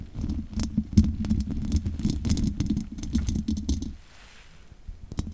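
Long nails scratch and tap rapidly across the hollow metal mesh grille of a large condenser microphone, making a dense, irregular patter of close, boomy taps with a low hum-like body and brief bright clicks. The busy tapping stops about four seconds in, leaving near silence broken by a few faint, scattered taps at the end.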